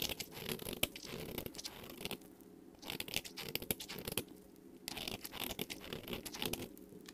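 A metal utility-knife blade shaves across the face of a solid, bright green rectangular bar of soap held in the fingers, curling off shavings. The sound is crisp, bright scraping and crinkling, in three bursts of quick strokes separated by short quiet pauses.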